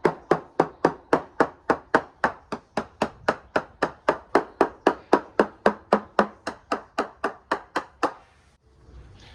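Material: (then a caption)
Fibreglass. A percussion test down the port side of a balsa-cored fibreglass yacht hull, above the waterline, about 3.5 m aft of the bow just behind the main bulkhead in line with the mast. There are 31 short, crisp, uniform taps at a steady rhythm of about four per second, each dying away almost instantly, before a brief low hush. The even return shows the hull laminate is sound and the balsa core is dry and good.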